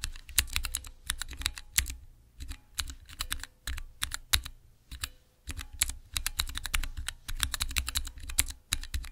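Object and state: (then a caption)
Mechanical keyboard switch tester. Fingertips press and type on the transparent keycaps of a small clear acrylic Cherry MX mechanical keyboard switch tester. Fast bursts of sharp, bright clicks and clacks come with short pauses between runs, each keystroke giving a crisp high tick over a low thud.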